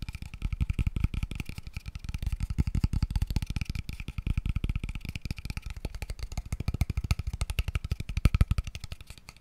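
A small, empty, open-ended square tube box of light, pale wood is held in one hand and tapped very fast with the fingertips. The result is a dense, steady stream of short, hollow, low thumps that die away almost instantly, with a faint woody ring above them.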